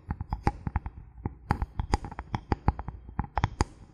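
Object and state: Bamboo board.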